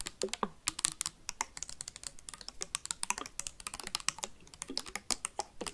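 Metal paperclips rapidly tap and scratch a clear plastic sanitizer bottle with a white cap and liquid inside. The result is a fast, steady stream of sharp, bright clicks and light scraping, each tick dying away instantly.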